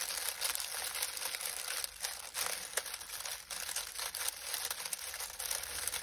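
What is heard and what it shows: Two hands press and knead a pile of dried, crinkly lemon balm leaves in a glass bowl set on a grey towel, working them with the fingertips. A continuous, bright, dry crinkling and rustling rises and falls with each squeeze, with almost no low end.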